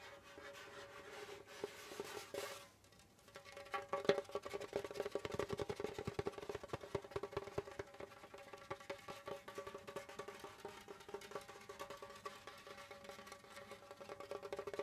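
Both hands tap rapidly with their fingertips on the pale skin head of a djembe over its hollow body, producing a dense stream of soft, quick, short-ringing taps. The taps carry a steady mid-range tone near 400 Hz. A brief hissy scrape near the start is followed by a short quiet pause before the tapping picks up again.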